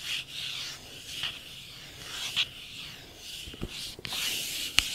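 Long painted nails rub and scratch slowly across the glossy printed surface of a small, empty cardboard iPhone retail box held close to the microphone. Soft, bright, hissy scraping swells and fades in waves, centered around 2.9 kHz with almost no low end. Three sharper scratch clicks stand out from the steady rubbing.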